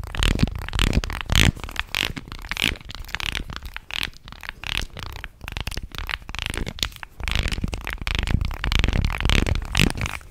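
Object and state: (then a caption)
Wooden fish guiro. A light, solid wooden fish-shaped guiro with carved ridges is held horizontally in both hands and scraped and rubbed along its grooves with fingers and fingernails. The result is dense, uneven bursts of scratchy, clicking rasps with bright, noisy upper edges and a heavy low rumble underneath.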